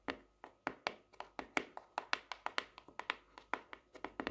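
Long nails tap 22 times on the purple marbled hard cardboard cover of a small closed hardcover notebook with a solid paper block, lying on a desk. Each tap is a short, crisp, bright click with almost no ring, coming in an uneven rhythm.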